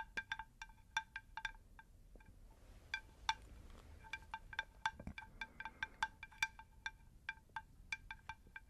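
Long pink nails tap a round, shallow, unglazed terracotta plant saucer in an irregular run of about 27 quick taps. Each tap gives a bright, bell-like ping centered near 900 Hz with higher ringing overtones that dies away quickly, over a faint low rumble.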